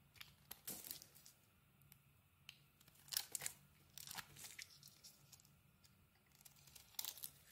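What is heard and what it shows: A small metal blade carves a pink and white solid bar of soap, breaking pieces off in bursts of crisp, bright scraping and crunching. Quiet pauses separate the bursts, with a faint low hum underneath throughout.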